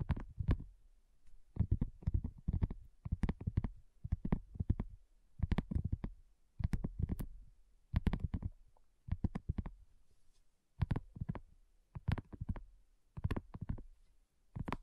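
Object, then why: Silicone coaster. Long nails tap and scratch on a thin, solid, flat round pink dotted silicone coaster. The sound is quick, dull, low-heavy taps in clustered bursts with short pauses and almost no ring, plus faint bright scratchy clicks on top.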